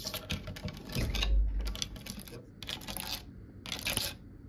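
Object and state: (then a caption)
Solid wooden cabinet panel. Long nails tap and scratch along the grain and grooves of a large, solid, varnished wooden cabinet door panel. Quick, irregular clicking taps mix with bright, rasping scratch bursts, separated by short quiet gaps. A deeper, hollow knock swells in the middle of the clip.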